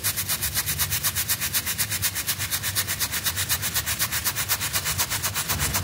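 A small rectangular wool-like carpet rug sample with flat, solid pile and a red W pattern on white is scrubbed back and forth with a stiff plastic-bristle hand brush while fingertips hold it down and soap foam builds up. Bright, hissy bristle strokes repeat steadily at about four per second, with a low hum underneath throughout.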